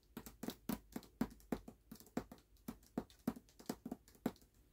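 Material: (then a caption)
Cardboard and paper. Fingertips and nails tap fast on the cover of a closed hardcover book with a paper dust jacket, resting on a black cloth. The quiet taps come in an uneven, rapid patter, each a short, dry knock with a soft low-mid body near 230 Hz and a bright papery click on top. They die away almost instantly with no ring.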